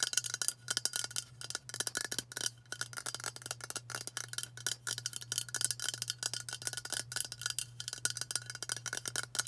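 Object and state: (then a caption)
Aluminium aerosol can. A white Dove aluminium aerosol spray deodorant can, held in the hands, is tapped quickly with long burgundy nails. The result is a dense run of short, bright, tinny clicks with a faint metallic ring and a steady low hum underneath.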